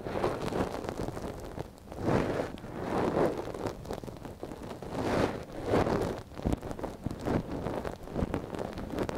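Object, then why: Silicone dummy ear scraped with a wooden ear pick. A gloved hand scratches and rubs inside the ear canal of a small, hollow white silicone dummy ear mounted on a binaural microphone, lying on yellow fabric, using a thin wooden or bamboo ear pick. The sound is a close, muffled, continuous rustling and scraping that swells and fades in soft surges, concentrated in the low and middle range with little high-end content.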